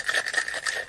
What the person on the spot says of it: I like to shake it until I hear the ice start to break up